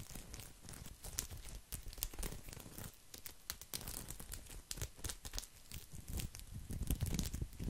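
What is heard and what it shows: Fingernails scratch a round, coiled woven straw placemat right next to the microphone, producing dense, rough crackling and scraping with bright, sharp bursts over a heavy low rumble. The scratches come in quick, uneven clusters that swell and fade throughout.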